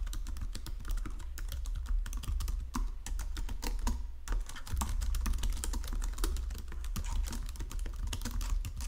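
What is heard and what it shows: Fingertips with painted nails type steadily across a full-size white and silver plastic Logitech keyboard with low-profile keys resting on a marble desk. The result is a continuous stream of quick, dry, bright clicks and taps with almost no ring, over a steady low hum.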